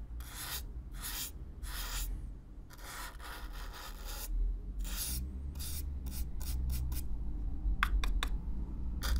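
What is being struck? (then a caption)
Corrugated cardboard box. A stiff black-bristle brush is brushed over the surface of a hollow brown corrugated cardboard box, recorded close-up. Dry, scratchy bristle strokes repeat throughout: longer sweeps at first, then quicker, shorter flicks, over a steady low rumble.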